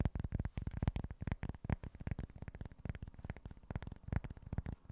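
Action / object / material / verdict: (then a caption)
tap / small flat cork board / cork / none. Short nails tap and scratch quickly across a small, flat cork board. The result is a rapid, uneven run of soft, dull, low thuds that stop almost instantly, with faint scratchy texture between them.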